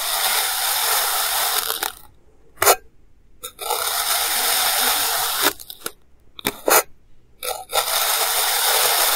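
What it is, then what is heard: Kinetic sand being cut. A clear plastic knife slices a solid, hand-sized mound of purple kinetic sand into thin layers, cutting and scraping through it. Long, bright, gritty scraping strokes alternate with near-silent pauses broken by short, sharp taps and crunches. The sound ends on another sustained scrape.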